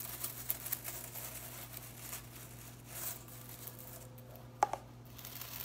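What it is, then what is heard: Plastic broom bristles. Long-nailed fingers run through blue plastic broom bristles and flick them, fanning them out, making a soft, dry crinkling rustle. Brief brushing swells rise and fade over a faint steady low hum, and a sharp, bright flick snaps out near the end.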